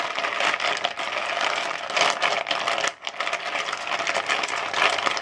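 Fingertips rake and stir ice cubes inside a translucent plastic bowl, making a dense, continuous clatter and rattle of cubes knocking against each other and the plastic. The sound is bright with no low end, and briefly drops away near the three-second mark before the steady rattling resumes.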